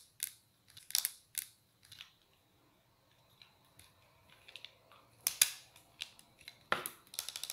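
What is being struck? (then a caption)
Plastic-framed sunglasses. Long polished nails tap on the dark lenses and frame of black plastic-framed sunglasses held up in the air. About fifteen quiet, sharp, bright clicks come at an irregular pace. Each is dry and dies away almost at once.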